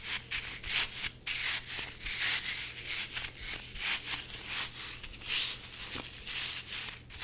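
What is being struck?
Soft rubber squishy toy.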